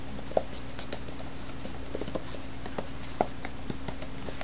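A small, hollow white cardboard box with a lid is held in both hands and tapped on its faces with the fingertips. Soft, short, hollow taps come at irregular intervals, with one firmer tap near the end, over a steady low hum.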